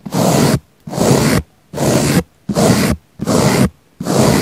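A small pink bristle brush is swept across a round, solid, soft, palm-sized pink foam sponge with a microphone in its centre, brushing away from the mic. Six even, broadband scratchy strokes of about half a second each are separated by brief silences, with a full, rumbly low end beneath a soft bright hiss.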